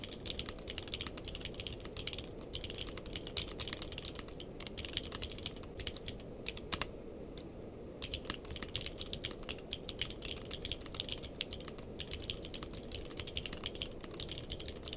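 Two hands type steadily with their fingertips on a purple-cased mechanical keyboard with plastic keycaps. Rapid, bright, short clacks run over a low, steady rumble. The typing eases into a brief lull around the middle, then picks back up.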